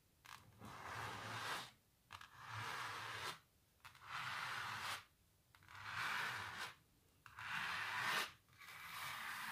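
Long natural nails scratch the textured surface of a canvas painting of a cellist under blue light, with the hands out of view. About six long, bright, raspy scraping strokes are separated by short silent pauses.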